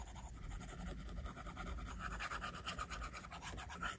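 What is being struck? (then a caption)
Plastic stylus on glass tablet screen. A plastic stylus tip rubs back and forth across the flat, solid glass screen of an iPad while shading a drawing. It makes a steady rasping scratch with quick repeated strokes and a bright edge that grows a little stronger toward the end.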